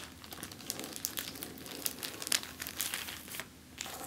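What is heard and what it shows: An empty clear plastic zip-lock bag lies flat on a table and is crinkled and scratched with the fingertips and long nails. The result is a steady run of bright, crackling crinkles with sharp plastic snaps scattered throughout and almost no low end.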